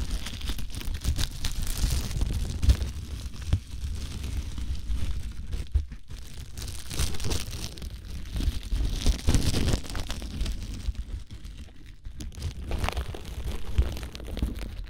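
Fingertips press, crinkle and rub thin clear plastic cling wrap stretched around an ear-shaped binaural microphone. The result is a steady, close-up crinkling with a heavy low rumble underneath, swelling and fading in bursts, with sharp bright crackles on top.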